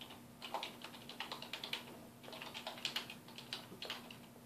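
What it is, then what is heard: Plastic computer keyboard. A black plastic computer keyboard on a wooden desk is typed on with the fingertips of both hands. The result is a quiet, rapid run of short, bright, clicky key taps over a faint steady low hum.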